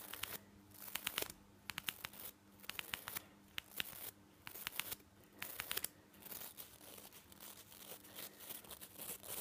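Fingertips and nails brush quickly over the nylon bristles of a toothbrush head. Bursts of bright, dry scratching and crackling alternate with short quiet gaps, with sharp little clicks standing out at the peaks and hardly any low end.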